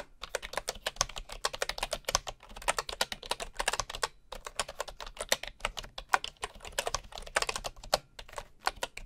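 Fingertips of one hand type on a bamboo computer keyboard with wooden keycaps and a hollow housing, while a wooden mouse sits alongside untouched. A steady run of quick, dry, hollow-sounding clicks carries bright, sharp attacks and almost no ring, pausing briefly around the four-second mark before continuing.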